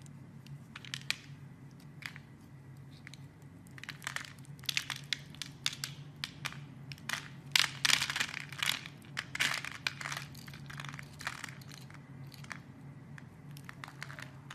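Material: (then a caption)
Soap. A metal blade carves scored cubes off a solid, opaque, hand-sized yellow soap bar. It makes a rapid series of crisp, crunchy, crumbling cuts with bright, dry crackles and no ring, over a faint low hum. The crunching grows densest and loudest midway through before easing off.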